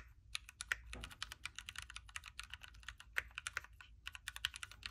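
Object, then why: Mechanical keyboard with plastic keycaps. Fingertips from both hands type continuously on a backlit Keychron Q3 mechanical keyboard with a knob, hot-swappable red switches, a metal case, and plastic keycaps, resting on a desk mat. A rapid, steady stream of short, bright clicks and clacks rises and falls, with each keystroke dying away almost instantly.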